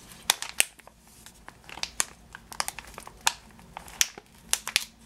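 A clear plastic bag full of yellow sugar-coated almonds, with a cardboard header card, is held in both hands while fingers and nails squeeze and crinkle the plastic and the candies shift inside. Irregular bursts of sharp, bright crinkling snap out over a quiet background, each dying away almost instantly.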